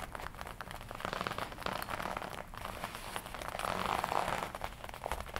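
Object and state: Leather jacket.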